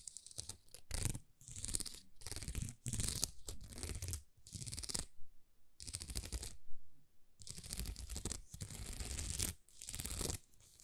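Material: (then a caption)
Plastic. Long nails scratch across a thin, flexible sheet of small plastic rhinestone stickers, making bursts of bright, crackly scraping with a soft low rumble underneath. The strokes come in quick runs separated by brief pauses, each ending abruptly with no ring.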